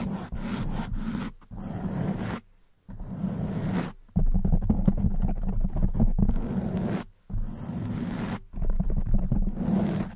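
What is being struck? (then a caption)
Foam microphone windscreen. Long white nails scratch the soft black foam windscreen on a silver condenser microphone. A dense, muffled scraping and rumbling, heavy in the low end, comes in bursts separated by brief silences.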